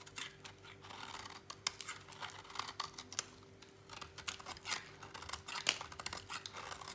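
A utility knife blade shaves a solid, dry orange bar of soap over a pile of shavings, producing a quiet run of bright, crisp scraping and crackling strokes. The cuts come in quick, uneven bursts of dry crunching and scratching, with a faint steady hum underneath.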